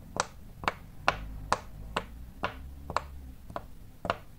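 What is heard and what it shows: Fingertips press and pop the small hollow bubbles on a large square rainbow-striped silicone pop-it fidget toy, working along rows of bubbles. Nine sharp, bright pops sound at a steady, unhurried pace, each dying away almost instantly over a low, quiet background.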